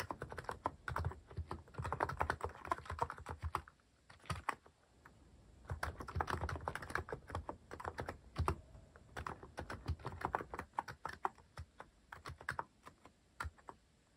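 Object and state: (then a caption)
Plastic mechanical keyboard. Fingertips type repeatedly on a cream plastic-case mechanical keyboard fitted with cat and paw-shaped plastic keycaps. Fast bursts of short, dull clacks with a solid low body fade almost at once. The typing breaks off briefly near the four-second mark, then carries on in uneven runs.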